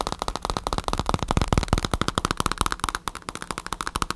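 Rapid fingertip and nail tapping on a black padded bicycle saddle with a synthetic leather cover, recorded up close. It makes a dense stream of short, dry clicks with a low thump under each tap and some brighter ticks from the nails. The taps swell slightly louder in the middle before settling back.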